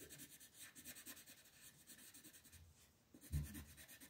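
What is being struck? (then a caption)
Wooden colored pencil rubbing on a paper sheet on a table. An orange wooden colored pencil shades the petals in the center of a flat printed paper coloring sheet resting on a table, making short, quiet rubbing strokes. The soft, papery scratching runs in a steady rhythm, briefly pauses near the three-second mark, then resumes with one slightly heavier stroke.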